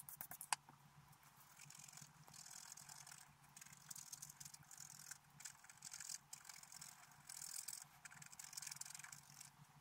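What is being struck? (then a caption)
Black-coated scratch-art paper card scraped with a wooden stylus. A wooden stylus scrapes a flat, black-coated scratch-art paper card at the upper flowers, giving bright, dry scratching strokes that come in short bursts. A few sharp ticks open the clip, and a low, steady hum sits underneath the quiet scraping throughout.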